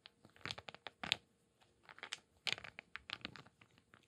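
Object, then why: Small wooden cubes and beads. A handful of small solid wooden cubes and light wooden beads is held in cupped hands, shaken and rubbed against each other with the fingers. Bright, dry wooden clicks and rattles come in short clustered bursts with brief pauses, each click stopping almost instantly with little low end.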